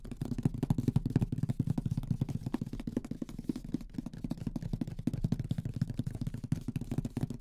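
Fingertips of both hands drum on the lid of a large, closed, printed Mysterium cardboard board game box, which is hollow. Rapid, uneven taps land about four per second, each a dull, low, hollow thud that dies away almost instantly.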